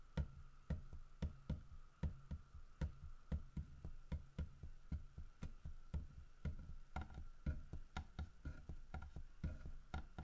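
Fingertips and nails tap and knock on the carved back of a large, solid carved wooden bear figurine. The short, dry, low knocks come in a loose rhythm of about two per second, each dying away almost at once. A faint, steady mid-pitched tone hums underneath.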